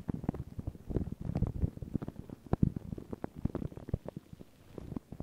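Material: Paper.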